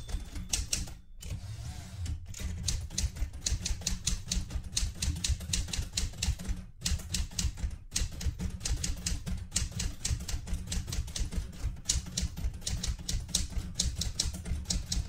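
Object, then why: Metal manual typewriter. Fingertips with red-painted nails type steadily on a vintage light blue portable manual typewriter with a metal body, and one hand briefly reaches to the carriage return lever. A rapid, continuous run of crisp, bright key clacks rides over heavy low thumps from the body, broken by a few short pauses. Each strike dies away almost instantly.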